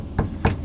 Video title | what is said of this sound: Siless Sound Dampening Combo Works Wonders #automobile #diy | just enough to get rid of that tinny sound of the metal